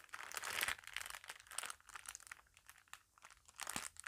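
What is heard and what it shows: An empty, thin clear plastic packaging sleeve is held in both hands and crinkled, rubbed and rolled with fingertips and long nails. The result is soft, bright, crisp crackling in dense bursts that swell and fade, with quieter rustling between them and almost no low end.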